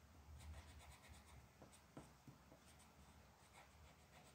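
A purple colored pencil, held in a hand with long black nails, rubs and scratches across a single flat sheet of printed mandala coloring paper lying on a dark wooden table. The result is a quiet, continuous scratchy rubbing with a low underlying rumble and a few sharper, brighter strokes standing out.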